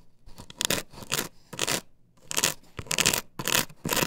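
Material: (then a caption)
Plastic. Long nails scratch quickly across an upright plastic stencil template glued to a wooden board, making a series of dry, bright, raspy bursts with short pauses between them. The scratching is high and hissy, with little low end and almost no ring after each stroke.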